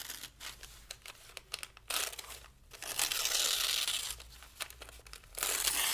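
Thin pale-green paper sheets are held down by one hand while the fingers of the other crumple and tear them. Short, crisp crinkles and snaps give way to longer, louder stretches of bright, hissy crumpling and ripping.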